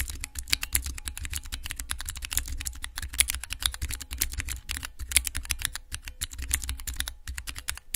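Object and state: Clear plastic keycap mechanical keypad.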